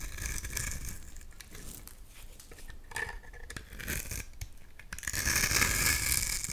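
A utility knife blade carves curly shavings from the edge and face of a solid bar of green soap held in one hand. The result is a steady, bright scraping and crinkling that comes in quick strokes. The sound grows louder and fuller over the last second and a half.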